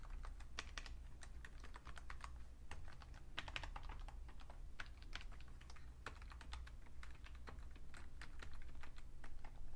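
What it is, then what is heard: Plastic computer keyboard. Fingertips type steadily on the keys and numpad of a vintage beige plastic full-size Fujitsu Siemens keyboard with a hollow case, giving a quick, dense run of short, crisp plastic taps that end almost instantly. The clicks sit around 2.5 kHz with brighter high edges, over a constant low hum.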